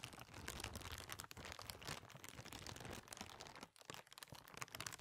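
A small, thin, translucent white plastic bag or sheet, empty, is held in front of a microphone and crumpled and crinkled with the fingers of both hands. It makes a dense, continuous run of bright crackling and rustling, with a brief lull near the middle before the crinkling picks up again.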